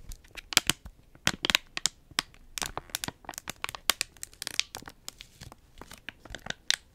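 Long nails rapidly scratch and crinkle a small Capri Sun juice pouch made of foil laminate, with its straw attached, possibly squeezed slightly. The result is a dense run of sharp, bright crackles and scrapes that die away almost instantly, with little low end.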